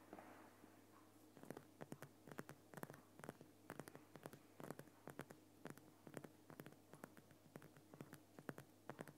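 Fingernails of both hands scratch rapidly on the lower sides of a large, solid, lit Himalayan rock salt lamp. Quiet, dry, crisp scratches and clicks come in quick irregular bursts with bright edges, each dying away almost instantly. A faint steady low hum sits beneath them throughout.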